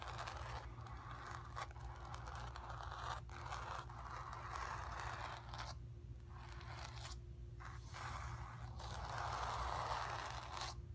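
Long nails scratch the surface of a square, acrylic-painted stretched canvas on a wooden frame, hollow behind and resting on carpet, with both hands. The result is a steady, dry scraping rustle centered in the midrange, coming in bursts separated by brief quieter pauses. A constant low hum sits underneath throughout.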